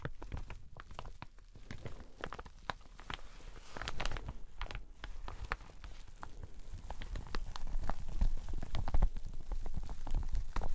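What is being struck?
Satin shower cap with elastic edge.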